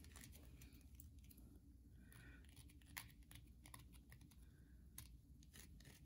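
Long nails scratch and tap the surface of a solid, carved white soap bar held in the hand. Quiet, dry scratching runs under a steady low rumble, with sharp, bright clicks from the nail taps, the two strongest landing near 3 and 5 seconds.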